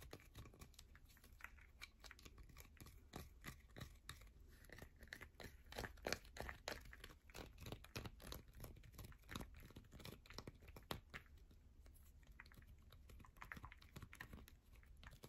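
Long fingernails rapidly scratch and tap the face of a heavily worn solid yellow bar of soap held in the hand. The result is a quiet, dense stream of short, dry crinkling scrapes and crisp clicks at an irregular, fast pace, with a bright edge and a soft low rumble underneath.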